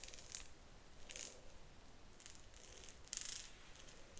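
Long nails scratch and flick the teeth of a solid, cream and pink marbled plastic wide-tooth comb held close up. The result is a series of soft, bright, scratchy bursts, with the sharpest flurry near the end.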